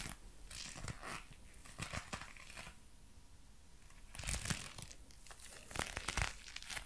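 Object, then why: Leather gloves. A pair of dark brown leather gloves worn on both hands is clenched and flexed in front of a microphone, giving soft creaking and crinkling of the leather. The sound comes in quiet, uneven bursts with a brief lull in the middle, and the crackles reach up into bright highs.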